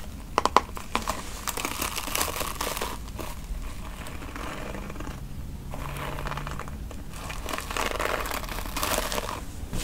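A pink plastic paddle hairbrush is held close while fingertips and nails scratch and tap its smooth back and run over its plastic bristles. A few sharp taps stand out near the start, then a steady, crinkly scratching and rustling continues, rising and falling in brightness.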